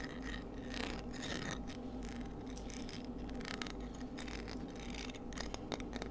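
A palm-sized, hollow, empty white cockle shell with strong radial ribs is held in the hands while long nails scratch and tap across the ribs. Soft, dry scratching runs through the clip, dotted with light clicking taps, over a steady low hum.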